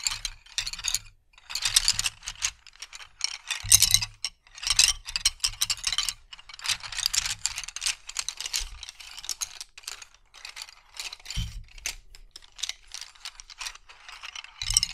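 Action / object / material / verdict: scrape / bundle of wooden colored pencils / wood / none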